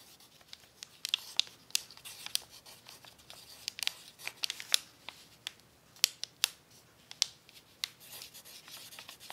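A pencil tip writes on a crumpled brown paper sheet lying on a tablecloth, rubbing and scratching across the crinkled surface. It makes a soft, bright, dry scratching sound with almost no low end, broken by many short, sharp crackles and ticks as the paper crinkles under the pencil.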